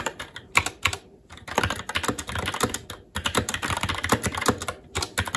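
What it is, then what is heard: Plastic mechanical keyboard being typed on. Fingertips of both hands type continuously on a SteelSeries Apex 7 TKL mechanical keyboard with red linear switches, plastic keycaps and a metal top plate. Rapid, bright, short keystroke clacks come in quick bursts, broken by brief pauses around one second and three seconds in.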